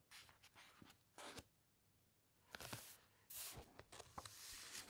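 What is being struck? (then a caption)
Thick uncoated paper pages of a hardcover book. A large open hardcover encyclopedia lies flat while long white-painted nails and fingertips rub and scratch across a printed page of thick uncoated paper, then a page is turned. Soft, bright scratching and brushing comes in short bursts, and a fuller rustle and swish follows as the page turns.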